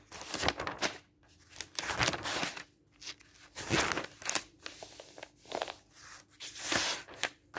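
A hand rubs flat fingers across the pages of an open thin paper product catalog lying on a table and turns the pages. Bright, dry rustling and crinkling swishes come in uneven bursts with short quiet gaps, over a faint steady low hum.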